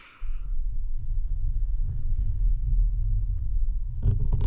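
Fingertips and nails scratch and rub the rounded metal mesh grille of a bare microphone with no foam cover, sitting on a desk. A heavy, continuous low rumble starts just after the beginning and holds throughout, with faint scratchy texture on top and a brief brighter burst of scraping near the end.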